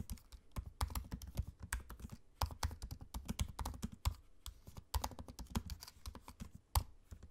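Fingertips type on a MacBook-style laptop keyboard with low-profile plastic keycaps set in a space-grey aluminium body. A steady, uneven run of quick, soft taps sounds mostly as dull low thumps with faint bright clicks on top. Each tap dies away almost at once.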